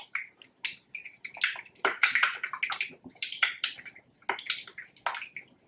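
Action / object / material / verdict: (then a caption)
shake / plastic bottle of liquid silicone colour mix / liquid silicone / none. A plastic screw-cap bottle of liquid exact-colour silicone colour mix, supplied very liquid so it can be mixed, is shaken by hand. The liquid sloshes inside in quick, bright, irregular splashes with short gaps between bursts.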